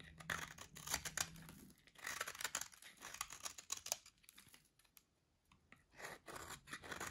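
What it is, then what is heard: Dry soap bar, crunchy when cut. A solid orange dry soap bar with a grid-cut surface is held in hand and cut into small crunchy cubes with a metal blade. Quiet, dry crunching and scratching crackles come in rapid bright bursts as the blade carves through. The cutting briefly falls nearly silent around the five-second mark before resuming.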